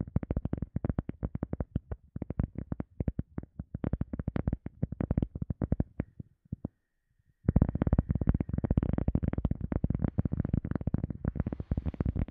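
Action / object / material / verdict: tap / EVA foam sponge / EVA foam / none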